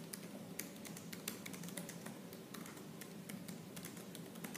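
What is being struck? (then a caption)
Laptop keyboard with plastic keys. Fingertips with purple nails type fast and aggressively on the black plastic keys of a silver laptop. A dense stream of sharp, bright clicks rides over a steady low hum, with no pauses in the typing.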